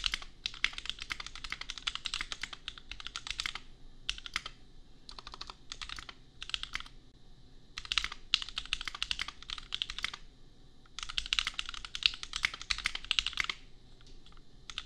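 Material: Plastic.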